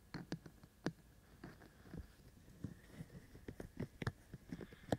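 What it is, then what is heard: Silicone microphone ears tapped. Fingertips of both hands tap the white silicone ears of a binaural microphone. The result is a series of soft, dull, irregular taps with a low, muffled thump, each dying away almost instantly over a faint steady hiss.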